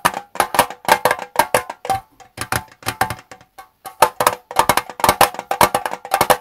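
Fingertips tap the lid and sides of a small square Twinings metal tea tin standing on a desk. Quick runs of light, dry metallic taps carry a short, tinny ring around 880 Hz with little low end, briefly thinning out just before the 4-second mark before resuming in steady bursts.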